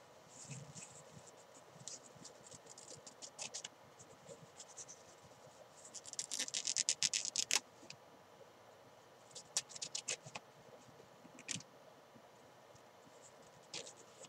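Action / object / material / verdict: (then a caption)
scrape / padded nylon climbing chalk bag / nylon fabric / none. Long nails scratch the green fabric side panel of a small padded nylon climbing chalk bag, which is turned on its side and hollow. The sound is a quiet, bright, dry scratching in uneven bursts, with a denser, louder flurry midway and a few sharper strokes near the end.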